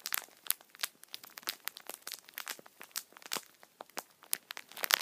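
A full tissue multipack in thin plastic wrap is squeezed and rubbed by thumbs and fingers. The film gives off rapid, dense, bright crinkles and crackles with no low end. Short sharp spikes keep coming for the whole clip.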